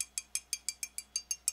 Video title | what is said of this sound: Virtual Foundry 90% Metal Filament...a 2nd look | this one I feel like is the most metal feeling it it it sounds like metal